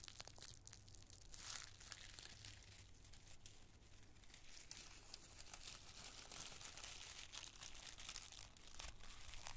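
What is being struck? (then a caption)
Thin tissue paper squares. A handful of thin, multicolored tissue paper squares is crushed in the fist, then rubbed between both palms. The result is a steady, quiet stream of dense, bright crinkling and crackling over a faint low hum.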